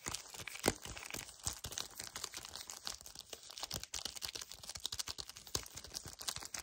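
Fingers with painted nails grip hard and scratch a small, full yellow cardboard chocolate bar sleeve held in both hands. The result is a quiet, rapid run of dry, bright scratching, crinkling and crunching, with a few sharper cracks standing out and almost no low end.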